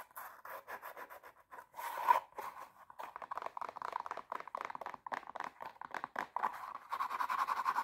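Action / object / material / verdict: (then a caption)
scrape / glitter fabric high heel shoe with plastic sole / glitter fabric / none. Long nails tap and scratch an empty silver glitter high heel shoe, working over its black plastic sole and glittery upper. Quick, light clicks and scratchy rasps come in dense bursts around a midrange tone, with brief hushed gaps and a faster, busier stretch at the end.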